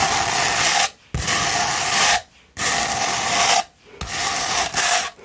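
A rolled sandpaper tube is held in one hand while the other hand scratches it with long nails. Long, gritty rasping strokes with bright hiss follow one another, separated by brief quiet pauses.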